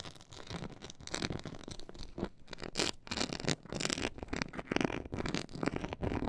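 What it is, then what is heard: Textured faux leather board. Long nails scratch the side of a black pyramid-textured faux leather board, making a steady run of quick, dry scraping strokes. The scratches are crackly and broadband, with bright edges and a soft low rumble beneath.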